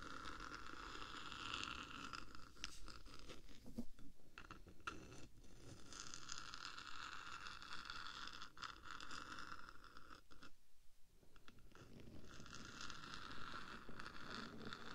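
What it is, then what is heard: Metal microphone body scratched and tapped. Long nails scratch and tap the top of the black, hollow metal body of a 3Dio microphone while the other hand rests at its side. The result is a steady, dense, close-up scratching with rapid taps mixed in, with a brief quieter lull near the eleventh second before the scratching resumes.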